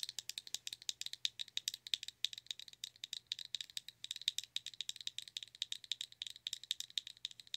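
A small, round, clear pink plastic blush compact, open with its hinged lid up, is tapped and rattled with long nails. Dozens of quick, dry, bright clicks arrive in a steady, uneven patter centered around 3.8 kHz, each dying away almost instantly. A faint low hum sits underneath.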